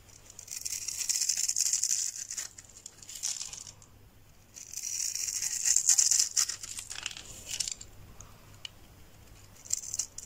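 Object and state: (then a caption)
Dry soap bar scraped with a knife. A solid rectangular yellow bar of dry soap, held in one hand, is scraped and shaved along its surface with the edge of a metal knife, raising crumbly flakes. Two long passes of dry, bright, crinkly scraping stand out, with shorter scratchy strokes and quieter gaps between them. The sound has almost no low end.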